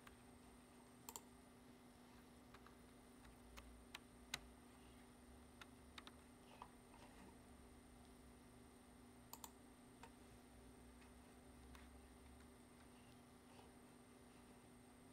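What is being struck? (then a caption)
Plastic computer keyboard. Fingertips slowly tap individual keys on a black plastic computer keyboard, giving thirteen short, bright, dry clicks that stop almost instantly. The taps are spaced unevenly over a quiet, steady background hum.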